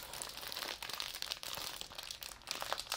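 A medium white paper envelope or paper packet with purple trim, thin and apparently empty, is held in both hands while fingertips handle and crinkle it. A steady run of dry, bright crinkling and small crackles continues throughout, with almost no low end.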